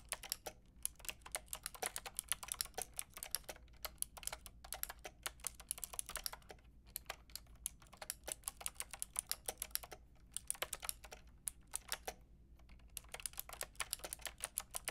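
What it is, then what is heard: Plastic mechanical keyboard with round keycaps. A white and pink Lofree mechanical keyboard with round plastic keycaps is typed on with long painted nails and fingertips. Rapid bursts of short, bright, clacking taps are broken by brief pauses, each click dying away almost instantly over a faint low hum.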